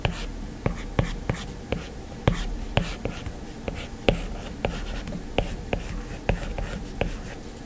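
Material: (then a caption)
Glass. A plastic stylus tip scratches long and short lines across the glass screen of an iPad. About 17 sharp, clicky taps mark where the tip meets the glass, and between them run soft, dry scratching strokes over a low, muffled background. Each tap dies away almost at once.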